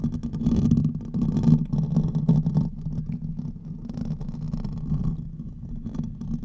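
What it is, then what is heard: Metal mesh microphone grille being scratched. Fingernails scratch the hollow metal mesh grille of a silver condenser microphone while hands are cupped around its head. The result is a close, muffled, continuous rumbling and rustling, heavy in the low range around 150–200 Hz with almost no brightness. It is louder in the first half and then settles into a steadier, softer scraping.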